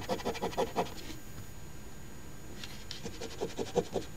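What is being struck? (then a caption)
Paper scratch-off ticket scraped with a coin. A coin held in the fingertips scratches the scratch-off coating on the crossword grid of an OLG Ontario Lottery $10 Crossword Deluxe instant paper scratch ticket (#3354) lying flat on a table. Quick, short raspy strokes come in a burst, pause for a quiet stretch, then resume in another run of strokes.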